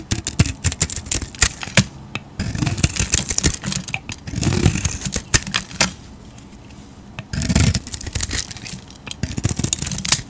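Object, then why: Soap bar scraped with a knife blade. A utility knife blade scrapes green shavings from a solid oval bar of soap held in the hand, its surface painted gold over a bright green interior. Rapid, crisp scraping strokes and sharp clicks carry a bright, gritty edge, broken by a few smoother, lower-pitched passes and brief quiet pauses.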